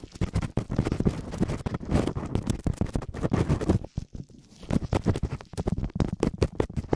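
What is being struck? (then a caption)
Silicone ear covers of a binaural microphone. Latex-gloved fingertips scratch and rub both small, hollow silicone ear covers of a binaural microphone. Dense, rapid scratching and rubbing produces a low, muffled, crackly texture with many quick strokes. A brief quieter pause comes near the middle before the fast rubbing resumes.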